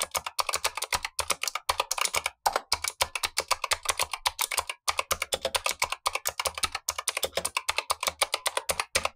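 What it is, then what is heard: Plastic mechanical keyboard with clicky switches. Blue-gloved fingertips type steadily on a Razer Huntsman V2, a plastic mechanical keyboard with black plastic keycaps and clicky switches, set below a second, untouched keyboard. The result is a rapid stream of sharp, bright clicks with almost no low end and very short decay, broken by a few brief pauses.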